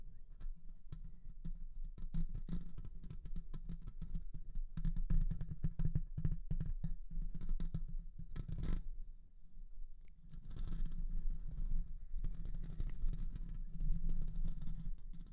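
Fingertips and nails of both hands scratch and tap the silver metal mesh grille on the hollow head of a condenser microphone. Dense, rapid clicks and taps ride over a boomy low rumble, with a brief pause before softer, continuous scratching takes over.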